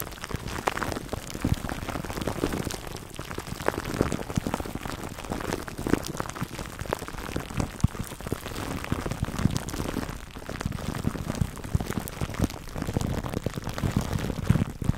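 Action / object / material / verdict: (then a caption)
scrape / plastic cling wrap over foam microphone windscreen / plastic film / none. Fingertips scratch clear plastic cling wrap stretched over a black foam microphone windscreen. The result is a dense, continuous crinkling and crackling with a heavy low-end rumble and many tiny rapid pops, much like rain on a surface, running steadily for the full fifteen seconds.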